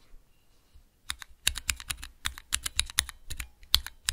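Fingertips press the keys of a small clear plastic Cherry MX key switch tester, seen from the side. After about a second of near silence, around 20 sharp, bright, clacky key presses follow in quick, uneven succession, each dying away almost at once.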